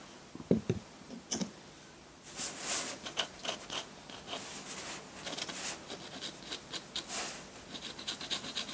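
A metal dip pen nib scratches ink lines onto a flat sheet of white drawing paper. A few sharp taps and short scratches come first, then a steady run of bright, dry scratching strokes with quick bursts of higher hiss.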